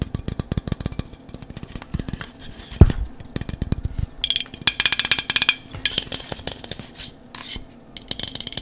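A dark, hollow cylindrical metal aerosol spray can is held close and tapped with fingertips and nails. The result is a dense run of quick, dry metallic clicks and taps with a bright, tinny edge and a low hollow knock. One stronger thud lands near the three-second mark.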